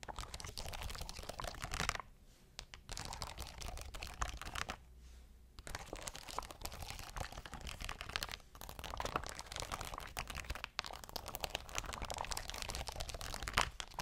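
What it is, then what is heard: Rhinestone sheet. Long nails scratch and tap a sheet of shiny rhinestones, making a dense stream of crunchy, crinkly clicks. Bright scratching fills most of the clip, with brief quieter pauses near 2 and 5 seconds.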